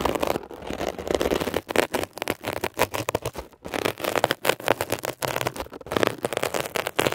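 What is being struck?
Mesh-covered foam scrub sponge.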